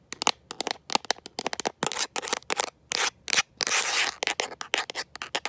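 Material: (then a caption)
Plastic. A smartphone in a mint-green rubber and plastic protective case, held in one hand, is tapped and scratched by long nails fitted with metal paperclips. Quick, dry, bright clicks alternate with longer hissing scratch strokes. The sound has almost no low end and the taps die instantly with no ring.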